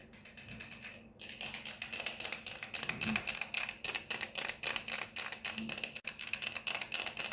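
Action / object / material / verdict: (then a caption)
tap / plastic sunglasses frame and lenses / plastic / none. Long nails tap quickly on the frames and mirrored lenses of black plastic-framed sunglasses worn on the face. The result is a rapid, slightly uneven stream of sharp, bright plastic clicks with almost no ring, after a brief near-silent pause at about one second.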